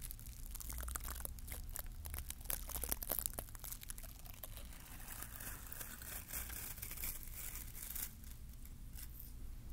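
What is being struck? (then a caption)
Plastic bottle-brush mini tree. Fingertips pinch, scratch and brush the glittery green plastic bristles of a small bottle-brush mini Christmas tree held by hand close to the mic. The result is a dense stream of bright, crinkly scratching and rustling with quick crackles over a steady low rumble, peaking slightly around the middle.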